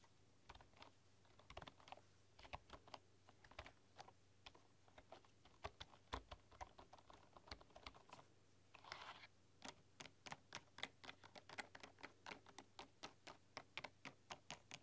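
Fingertips with long nails type quickly and tap on a full-size bamboo keyboard with wooden keys. The result is a steady stream of short, dry, bright clicks and taps over a faint low hum, with a brief scratchy rustle partway through.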